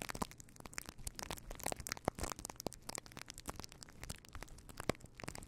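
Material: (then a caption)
Faux fur. A fluffy faux fur windscreen on a microphone is rubbed and scratched with the fingertips of both hands. The result is a dense, continuous run of crackling, crunching scratches with sharp, bright transients over a faint low hum.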